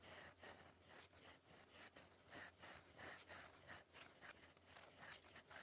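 A gold metal fountain pen nib, held in fingers, writes cursive across a flat sheet of cream lined paper resting on a desk. The clip is quiet, with bright, scratchy strokes coming in quick, uneven bursts over a faint steady low hum.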